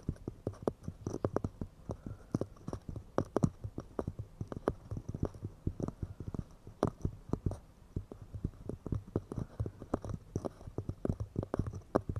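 Pine wood cups are tapped quickly and delicately, producing a rapid, uneven stream of short, dry, hollow knocks. The knocks are weighted toward low tones with almost no ring, and quieter pauses fall between clusters of taps.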